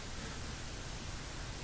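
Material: Nothing is struck.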